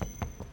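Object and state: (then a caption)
Sound-deadened car door panel, solid. Three knocks on the damping-mat-treated rear door panel of a Lexus LM500 give short, dull, low thuds that die away almost at once. The panel sounds solid, as intended after the sound-deadening treatment. A faint steady high tone runs underneath.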